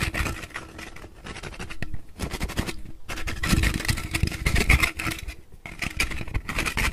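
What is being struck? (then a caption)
Aluminum drink can. Fingertips and nails scratch and tap along the body of a purple Monster energy drink can, a standard-size aluminum can held in both hands close to the recorder. The sound is dense, fast scratching with quick tapping thumps, broken by a few short pauses, with dull low knocks under a bright, raspy scrape.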